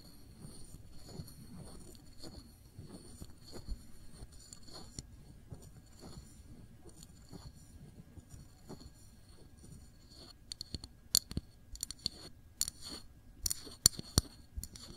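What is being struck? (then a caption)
Small glass jar of jam. Long nails tap slowly on a small glass jar full of cranberry jam held sideways, striking both the label and the bare glass. Soft, muffled taps fill the first part, then sharper, brighter clicks with a faint high ring stand out over the last few seconds.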